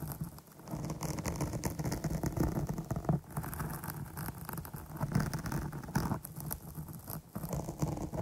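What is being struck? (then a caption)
Foam microphone windscreen. Long nails rapidly scratch and tap the top of a dark porous foam microphone windscreen. The result is a dense, muffled, low-heavy patter of crackling scrapes and soft thuds with quick-dying taps. A faint bright hiss runs through it.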